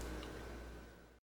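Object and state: Nothing is struck.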